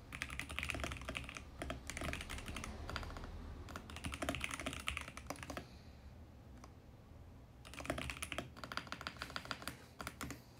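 Fingertips type steadily on a compact VGN X68 mechanical keyboard with plastic keycaps on a plastic case. Bursts of quick, bright clicky keystrokes are separated by a quieter pause in the middle, over a steady low hum.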